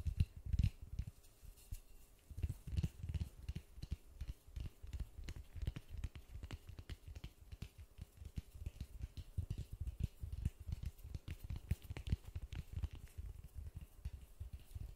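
White-gloved fingertips rapidly tap and scratch a large, solid white polystyrene foam ball with a slightly textured surface, held in the hands. The result is a dense, continuous run of soft, dull low thumps with almost no ring, mixed with faint scratchy rustling.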